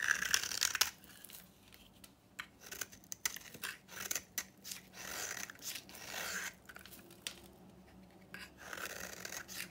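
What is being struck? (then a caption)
Bar of soap cut with a knife. A utility knife scrapes and slices an old, painted, copper red-pink bar of very dry, powdery soap held in the hand. Crisp, bright, crunchy scrapes and short gritty cuts come in quick bursts, some longer rasping strokes, separated by brief quiet pauses. The sounds are dry and close with almost no low end and no ring after each stroke.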